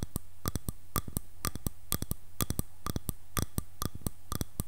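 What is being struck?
Wooden hairbrush back.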